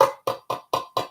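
Five light taps on a metal tin that holds a fairy tale Lenormand deck and its guide book. Each tap gives a short, hollow knock centered around 540 Hz with a little bright edge, and dies away quickly.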